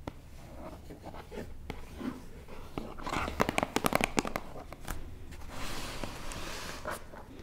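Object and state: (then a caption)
Cardboard box. Fingertips and nails tap and scratch the lid and edges of a closed, hollow, book-sized white cardboard box with a "We" logo, lying on a wooden table. Soft scratching and rustling build into a burst of quick, dry, sharp taps in the middle, then settle back into quieter scraping.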